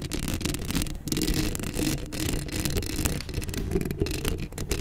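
Long acrylic nails scratch the hollow metal mesh grille of a black Blue Yeti microphone up close. The result is a continuous, rough, rasping scrape with a heavy low rumble and a thin bright edge. The level rises and dips slightly with each stroke.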